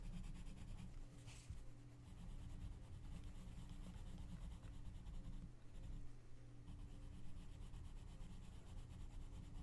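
A gloved hand shades the paper page of an open coloring book lying flat, rubbing in strokes with an orange colored pencil. The result is a quiet, steady, low-heavy scratchy rubbing that continues for the whole clip with little change in level.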